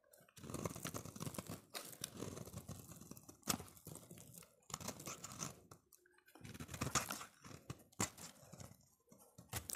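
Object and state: Soap bar being shaved.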